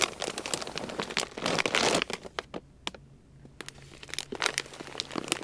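Fingertips pinch and rub the top edge of a large, full, white plastic Purina Beneful dog food bag. Quick, bright crinkles come in irregular bursts, densest and loudest around the middle of the clip, over a faint low steady hum. The sound thins to a brief near-quiet lull, then the crinkling picks up again toward the end.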